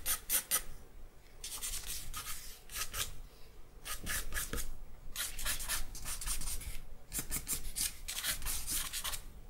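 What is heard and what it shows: A charcoal stick is rubbed along the lower edge of a white drawing paper sheet, making clusters of quick, dry, scratchy strokes with a bright, hissy edge and a faint squeak. The rubbing comes in bursts separated by short pauses, each stroke ending abruptly with no ring.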